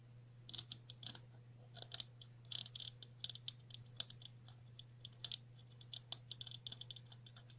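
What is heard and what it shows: A hollow red plastic cap with a center hole and ridged edge is held in the hands while long natural nails tap and scratch along its rim. Quick, bright, clicky taps and short scratchy strokes come in irregular bursts over a faint, steady low hum.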